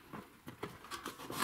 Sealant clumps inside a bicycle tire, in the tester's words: when we spin it, it rolls inside the tire